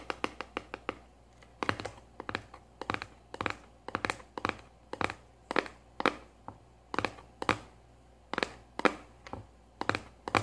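A small hollow kraft-cardboard cylindrical tube with a lid is held in one hand and tapped with long nails on its top and rim. Roughly three dozen quick, dry, hollow clicks come in uneven bursts with short pauses, each dying away almost at once over a faint steady background hum.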